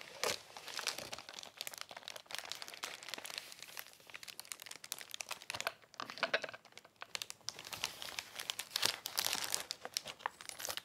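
Fingertips grip and press a large white-and-blue Amazon Prime padded plastic bubble mailer, flat and apparently unopened, lying on a lace tablecloth. The plastic gives a dense, bright crinkling and crackling with no low end, in quiet bursts of rapid, short snaps that swell and fade over about eleven seconds.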